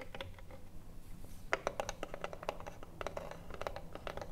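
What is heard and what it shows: Long nails scratch and tap the printed front panel of a hollow wooden cigarillo box standing upright. Quick, dry clicks with a hollow midrange knock sit over soft, steady scraping and a low background rumble, each tap dying away almost at once.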